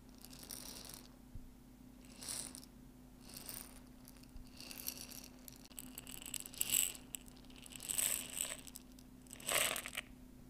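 A clear glass jar with a white plastic lid, partly full of dry popcorn kernels, is tilted and shaken in both hands. The kernels shift and rattle inside in repeated bright bursts of gritty crackling, with a low steady hum underneath.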